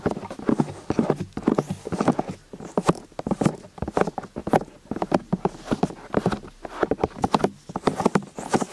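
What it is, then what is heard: Silicone-eared binaural microphone. Two people rapidly tap with their fingertips on the silicone ears, set in plastic housings, of a white binaural microphone on a stand, working from both sides. The result is a dense stream of short, dry, hollow clip-clop-like taps with warm low-mid body and little ringing. The taps arrive in uneven bursts and cross over one another throughout.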